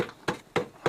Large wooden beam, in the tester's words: it's wood okay it's Hollow listen to that sound